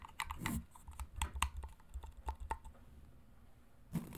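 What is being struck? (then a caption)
Hollow plastic vacuum attachment. A hollow grey plastic vacuum brush attachment is tapped and scratched with long nails along its plastic shell. Quick, dry, clicky taps with a soft, low hollow body alternate with brief scratchy swishes. The taps are short and do not ring, with quiet pauses between them.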